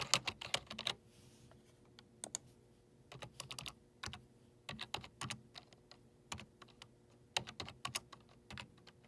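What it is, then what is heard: Plastic computer keyboard keypad, typing. Fingertips rapidly press the hollow keys on the numeric keypad of a black plastic desktop computer keyboard. The result is bursts of quick, bright, clicky taps with very short decay and irregular pauses between runs, over a faint steady low hum.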